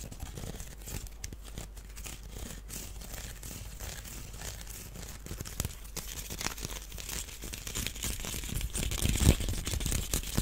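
A small, hollow, empty woven wicker duck basket is held in the hands while fingernails scratch and tap across it. Dense, dry, crackling scratches and brittle rustling run throughout with quick soft taps mixed in. The sound grows louder and brighter toward the end, peaking near the nine-second mark.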